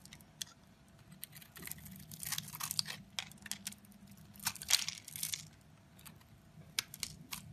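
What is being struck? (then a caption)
Bar of soap scraped with a blade. A box-cutter blade carves and scrapes the surface of a solid, rectangular, dark grey bar of soap held in a hand with red nails. Crisp, bright scraping and crunchy shaving sounds come in short bursts and sharp clicks. A faint steady low hum sits underneath.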